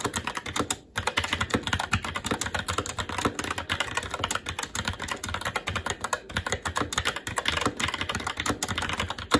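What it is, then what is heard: Plastic mechanical keyboard. Continuous fast two-handed fingertip typing on a SteelSeries Apex 7 TKL mechanical keyboard with plastic keycaps on a metal top plate and Red linear switches. It produces a dense stream of quick, short clacks with a bright edge, broken by one brief pause near the first second.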